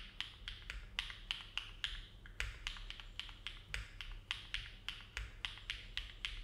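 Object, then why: Mechanical keyboard with plastic keycaps. Fingertips of both hands type steady, slow key presses on a compact Neo70 mechanical keyboard with an aluminum case and plate, foam filling, and hollow ABS plastic keycaps, resting on a desk mat. About 24 short, crisp clacks are heard, each bright with a brief ring near 3 kHz. A quiet low hum runs underneath.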